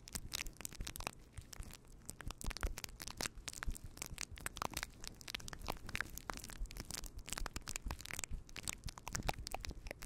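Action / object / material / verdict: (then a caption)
scrape / faux fur microphone windscreen / faux fur / none. A fluffy faux fur windscreen on a microphone is rubbed and scratched with the fingertips of both hands. The result is a dense, continuous stream of crackling, crunching rustles with a heavy low rumble underneath and bright scratchy bursts on top. The sharp grainy crackles come in quick succession for the whole clip.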